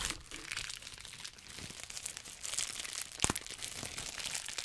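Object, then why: Plastic bubble wrap sheet. A sheet of clear plastic bubble wrap is held near the mic while fingers pinch, pop and crinkle the bubbles. A continuous bright crinkling runs throughout, broken by sharper crackling pops. One loud, sharp pop stands out a little past the three-second mark.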